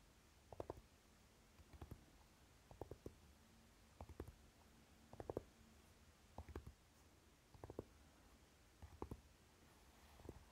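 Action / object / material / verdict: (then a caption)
tap / fabric-flocked metal palette case / flocked tin / none. Fingertips and short nails tap quickly on the lid of a flat rectangular Naked eyeshadow palette, a hollow, velvet-flocked tin with a dark fabric-coated metal case. Soft, dull, muffled taps come in quick bursts about every second, each tap dying away at once against a quiet low hum.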